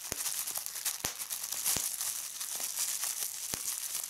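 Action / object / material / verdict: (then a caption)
scrape / plastic bubble wrap / plastic / none. Clear plastic bubble wrap is bunched in both hands while fingertips and nails squeeze and pop its bubbles. A steady bright crinkling hiss is broken by sharp, short snapping pops that stop quickly. The sound is thin and high with almost no low end.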